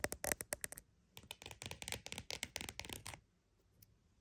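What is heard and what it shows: Fingers tap and scratch a croc-embossed purse, producing a quick run of dry, bright taps, a brief pause, and then a longer stretch of dense, crackly scratching and tapping across the textured surface. The sound fades to near silence with one faint tap at the end.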